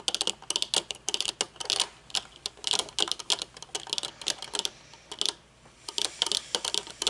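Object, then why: Metal-frame sunglasses with dark lenses. Long painted nails tap quickly on the dark lenses and metal frame of folded metal-frame sunglasses resting on a wooden table. The result is rapid bursts of short, bright, dry clicks with almost no low end, broken by brief pauses, much like fast typing.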